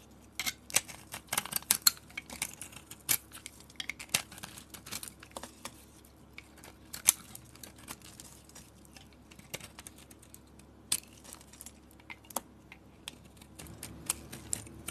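A palm-sized solid peach soap bar with a colored microbead coating is held in the hand and carved and scraped with a metal box-cutter blade. A steady stream of quiet, bright, crisp crackles and sharp ticks is heard as the blade cuts through the beads, each snap dying away almost instantly over a faint low hum.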